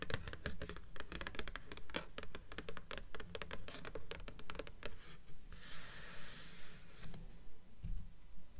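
Long nails on both hands tap and scratch the glossy cover of a blue paperback book of solid paper, lying on top of a stack of books. Quick, fairly steady dull taps with bright clicky edges fill the first five seconds, then a soft, hissy scratching sweeps across the cover before a few more taps close the clip.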